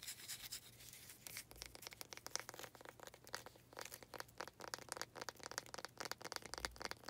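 Long nails rub and scratch across a small faceted wooden planter pot with a knot, producing dense, dry, rapid scraping strokes with bright, hissy texture. A faint low hum sits steadily underneath.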